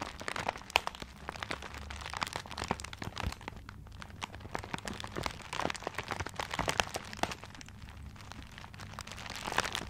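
A small gift wrapped in tiger-print paper is held close to a blue microphone while fingertips and nails scratch and rub the wrapping. The result is a steady stream of dense, crisp crinkling and crackling with many sharp, bright ticks over a soft low hum.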